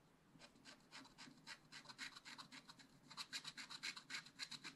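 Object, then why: Scratch-art paper page scratched with a wooden stylus. A wooden stylus scratches short strokes across a black-coated scratch-art page in a spiral-bound book, the flat sheet held with one hand. A quick, uneven series of dry, bright rasping scrapes grows louder and denser toward the end, with no ring after each stroke.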